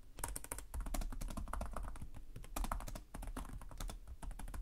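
Fingertips with short nails type continuously on the plastic chiclet keyboard of a black laptop resting on a desk. The result is a rapid, dense stream of light clicking key taps with a low thump under each press and short, dry decays.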